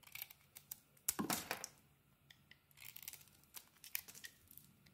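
A metal blade held in the fingers shaves a solid rectangular soap bar with a neon green coating over a white core. Crisp, bright scraping and crinkling cuts come in short bursts, with one longer, louder shave near the start. The bursts are separated by quiet gaps.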